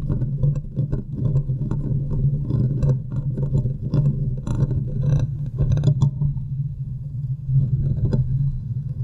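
Fingertips and long nails scratch the sides and top of the hollow, domed steel mesh grille on a large desktop USB microphone. A steady low boom sits under a dense run of rough scraping strokes with bright crackling flecks, which thin out briefly near the end before picking up again.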